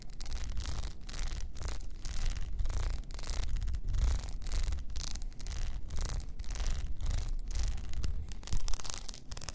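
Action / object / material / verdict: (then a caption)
scrape / rhinestone-studded tumbler / rhinestones / none. Long nails scratch across an upright blue rhinestone-covered tumbler with a frosted lid. The result is a steady run of quick, rough scratching strokes: a gritty, broadband rasp over a low rumble, with brief gaps between strokes.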